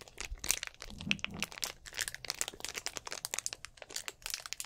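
Fingertips squeeze and crinkle a hollow, mostly empty clear plastic drink bottle with an orange cap close to the microphone. A rapid, uneven series of sharp, bright crackles and crunches follows, each snapping off almost instantly with little low end beneath.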